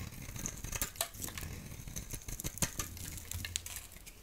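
A solid yellow oval Crazy Zoo soap bar, held in the hand, is carved into curls with a utility blade. It makes a steady run of crisp, bright scraping and shaving ticks, with sharper snaps as the curls break away, over a soft low rumble.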